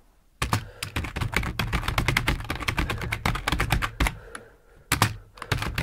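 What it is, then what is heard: Plastic computer keyboard. Fingertips of both hands type on a full-size black plastic computer keyboard resting on a wooden desk. After a brief silence, a rapid, uneven run of clacky keystrokes begins, each with a short, dull low thud and a bright click. The typing thins to a brief lull before a final flurry of keys.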